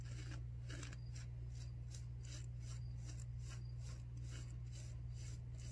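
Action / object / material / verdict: scrape / non-woven fabric face mask / non-woven fabric / none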